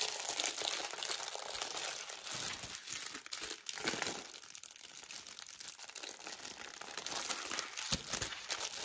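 Fingertips with painted nails press, flex and rub the thin clear plastic film sealing a flat Easter multipack of nine foil-wrapped milk chocolate bars on sticks, lying on a blue table, then turn the pack over. A steady stream of bright, dry crinkling and crackling fills the clip with almost no low end, rising and falling as the film is worked. The pack stays closed and full.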